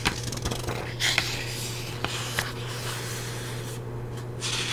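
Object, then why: Paperback book paper pages. Fingertips with long nails rub and scratch the surface of thick paper pages in an open paperback book held in one hand. The result is a dry, bright rustling and scraping over a steady low hum, broken by a few sharp ticks.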